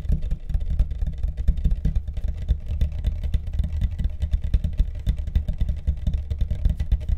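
Rapid, continuous tapping on the deck of a carbon fiber longboard produces a steady stream of short, dull, low thuds. The taps are packed closely together and each dies away almost instantly, with no ring.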